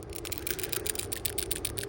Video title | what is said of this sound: Week 2 Lab Video Justin and Leo | it passes the rattle test